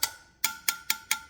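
Steel spokes of a Harley-Davidson Sportster wheel are tapped with a screwdriver handle as an old-school check for spoke tension, giving six bright, clear metallic pings with a ringing tone near 1.4 kHz. The tight spokes ring clearly rather than sounding dull, showing they are properly tensioned.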